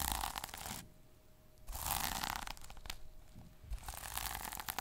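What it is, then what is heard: Plastic sequin notebook cover. Fingertips and short nails rub and scratch the plastic sequins on a small sequin notebook cover. Bursts of dry, bright scratching and crackling alternate with quieter pauses as the sequins are brushed back and forth.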